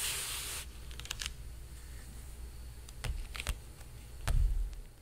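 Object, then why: Painted canvas stretched on a wooden frame. A flat hand rubs and lightly taps the surface of a large painted canvas stretched on a frame. A bright, hissy rub opens the clip, followed by soft, dry taps with a low, boomy body. A fuller thump near the end fades quickly.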